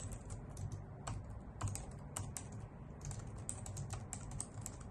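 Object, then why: Plastic computer keyboard with hollow key caps. Typing with long nails and fingertips on a white full-size plastic computer keyboard with hollow key caps gives a steady run of quick, dry clicks. Each click has a bright, sharp tick on top of a soft, low thud, and dies away almost at once.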